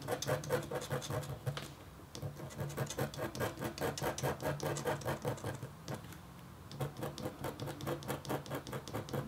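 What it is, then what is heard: Copper scratch art board being scratched. A metal-tipped stylus scratches across a thin, solid, flat black-coated copper foil scratch board, making a quick, fairly regular run of short, dry scraping strokes with a low rasp and bright edges. The strokes pause briefly around the two-second mark and again near six seconds, then resume at the same steady pace.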